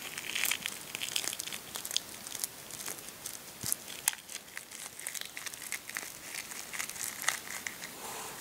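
A cracked hard-boiled egg is held in both hands while the thumbs press and rub it, crushing the cracked shell. The result is a steady run of dry, bright crinkling and crackling with sharp little snaps that stop instantly, with almost nothing in the low end.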